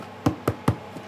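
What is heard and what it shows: A hand knocks on the crust of a large round bread loaf (tourte) taken from a wood-fired oven after about fifty minutes of baking. Three short, dull, hollow knocks are heard, followed by a faint fourth tap; each is low-pitched and dies away almost at once. The loaf is hard but not burnt, and its hollow ring shows it is properly baked.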